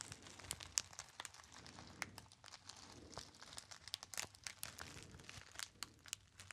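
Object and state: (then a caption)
Metallized foil pouch. A small gold metallized foil pouch with a label, hollow and apparently empty, is crinkled by fingertips. The result is a quiet, continuous run of bright, crisp crackles and snaps that stays mostly in the high range, with almost no low end.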